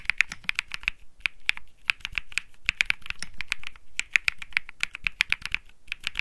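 Fingertips type rapidly on a compact Think 6.5 mechanical keyboard with Bsun Lollipop switches, an aluminum case, a PC plate and plastic keycaps, resting on a felt mat. About 38 short, crisp keystrokes sound in quick, uneven runs, each a bright clack centered near 2.4 kHz with a soft low thock beneath and almost no ring.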